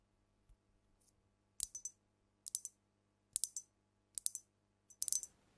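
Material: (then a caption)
Glass. Long nails tap the body of a brown glass cognac bottle with amber liquid inside, held tilted over the mic. Five quick bursts of bright, high clicks follow each other, each one short and dry with almost no ring. The last burst is denser and trails off into a faint hiss.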